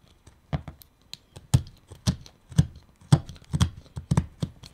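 A carving knife cuts and pares the edges of a hand-sized, reddish wooden pipe blank, mostly solid with a drilled bowl, held in the hand. Short, dry, low scraping and cutting strokes come at an uneven pace, with brief bright clicks and almost no ring after each stroke.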